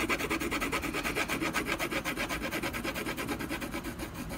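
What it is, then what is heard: Pencil hatching on a canvas panel. A brown colored pencil vigorously hatches a tree trunk on a solid canvas panel, making a steady run of quick, dry scratching strokes. The strokes come as about two dozen short, rasping pulses with a bright, papery texture and little low end.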